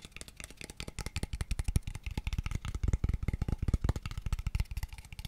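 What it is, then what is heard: Light hollow wooden tube box. A small, empty, hollow, pale wooden square tube box is tapped quickly with fingertips and nails at different angles. Around thirty rapid, dry taps each give a deep, hollow knock that dies almost instantly, with faint bright clicks from the nails on top.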